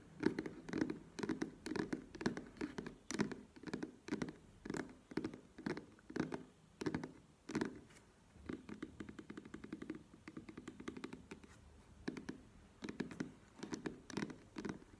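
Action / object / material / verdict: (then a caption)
tap / soft plastic squeeze tube / plastic / none. A soft plastic squeeze tube of cream, standing on its cap and held in both hands, is tapped with long nails. Quick, light clicky taps come in uneven bursts with a low hollow tone, then softer rapid tapping runs before the sharper bursts resume.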